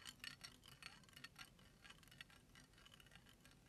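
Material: Eggshell.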